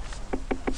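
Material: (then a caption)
Gourd rind. Three taps on a large gourd growing in the field give short, hollow knocks with a low tone. The knocks sound firm and solid, marking the gourd as well ripened.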